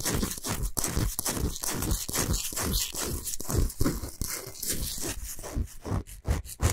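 Long nails quickly scratch the surface of a large, flat, solid pink Himalayan salt block. The result is a rapid series of dry, gritty scrapes with a heavy low-end body and a bright, hissy top, each stroke dying away quickly.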